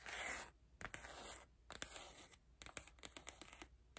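Long nails scratch and rub the textured cloth cover and spine of a large dark-green hardcover photobook album. A loud, bright rubbing swish opens the clip, followed by quieter dry scraping and a quick string of sharp, crisp scratches and clicks.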